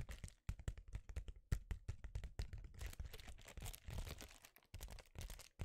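Fingers scratch and crinkle the surface of a flat, empty silver foil bubble-insulated mailer held in front of a microphone. The result is a dense, quiet run of crisp crackles and crinkling scrapes, with quick, dry transients that stop almost instantly and a soft, low-weighted body.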